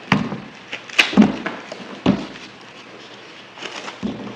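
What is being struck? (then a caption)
Bar of soap cut with a blade. A solid green bar of soap, held in the hand, is cut and scratched repeatedly with a yellow-handled blade. About seven short, dry chopping crunches with bright scraping texture are spaced irregularly, each fading quickly into a quiet pause.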